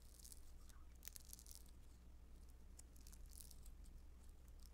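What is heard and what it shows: A soft, solid lump of blue beaded Play-Doh Foam modeling dough is pulled, stretched and pinched between the fingers and nails of both hands. Quiet, bright crackling and tearing ticks are scattered throughout over a steady low hum.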